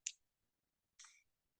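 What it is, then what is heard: Empty plastic ampoule vial. The back of an upside-down plastic ampoule vial is tapped to dispense its contents, giving two short, bright, clear taps about a second apart with almost no low end. The clear tap means the vial has been emptied, and tapping continues until that sound is heard.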